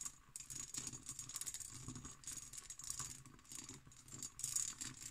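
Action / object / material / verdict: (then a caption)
tap / cut glass decanter / glass / none. Long nails tap and scratch the bumpy surface of an empty, textured cut glass decanter with its stopper in, standing on a table. A quiet, continuous stream of bright clicking and scraping patter fills the clip, with short glassy ticks that die away almost instantly.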